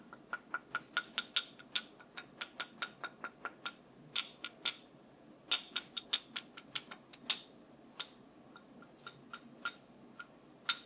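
A wooden brush is tapped in a quick, uneven rhythm, giving about 30 short, dry, bright clicks. Each tap dies away almost at once over a quiet background.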